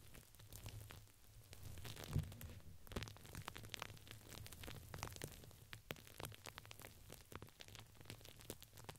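Long pink nails scratch and tap the sides of a purple printed fabric ring with crinkly filling placed around a microphone. The result is a dense stream of soft crinkling and rustling scratches with brief bright ticks, over a steady low hum. One sharper tap stands out near the two-second mark.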